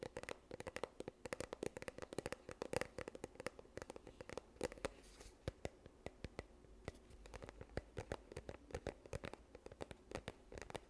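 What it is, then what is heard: Plastic sunscreen tube. A yellow plastic sunscreen tube, held in both hands, is scratched and tapped with long nails. The result is a quiet, steady run of quick, dry clicks and crinkly scratching, each tap short with almost no ring and a faint hollow tone around 500 Hz.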